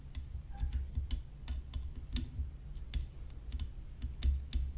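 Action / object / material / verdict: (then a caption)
tap / graphite tennis racket frame with rhinestones / graphite / none. Long nails tap rapidly along the rim of a hollow graphite tennis racket frame studded with rhinestones, lying flat. Quick, sharp, bright ticks sound in an irregular stream over a steady low hum and a faint high whine, each tick dying away almost at once.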